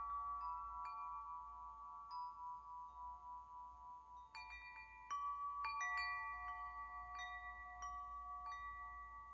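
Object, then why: Hollow metal wind chime tubes. Hollow metal wind chime tubes hang from a hand-held string and are swung so the striker rings them. Clear, overlapping bell-like tones with bright overtones ring out and sustain, while fresh strikes add new notes and the sound swells louder partway through. A faint low hum runs underneath throughout.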